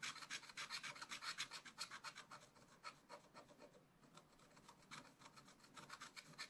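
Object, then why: Coated scratch paper scraped with a wooden stylus. A wooden stylus scratches across black coated scratch art paper over a leaf area, making bright, dry rasping strokes at a quick, uneven pace, about 25 in all. The scratching thins and quiets briefly around the middle before picking up again with steady strokes to the end.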